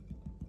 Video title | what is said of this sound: Quick and Simple Wheaten Bread Recipe | tap it in the bottom, it's hollow